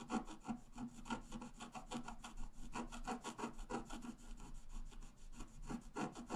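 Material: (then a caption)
Coated paper. A wooden stylus scratches the flowers on the left side of a flat, black-coated scratch-art paper card. Quick, uneven strokes come about three per second, making a soft, dry rasping scrape with bright hiss over a faint low hum.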